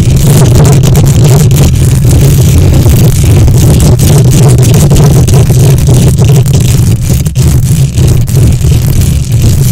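Long nails on both hands aggressively scratch the hollow metal mesh grille of a silver condenser microphone. It makes a loud, continuous, boomy rumble centered low around 150 Hz, with dense rough scraping texture and brief dips near the end.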